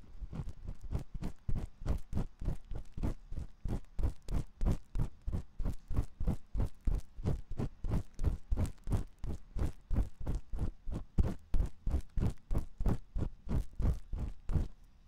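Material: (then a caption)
Silicone. A metal ear pick scratches inside the canal of the dim white silicone ear on a 3Dio binaural microphone. The result is about 59 close, muffled, low thumping scrapes over 15 seconds, repeating roughly three times per second in a loose, steady rhythm. Each stroke is short and dull, with almost no brightness.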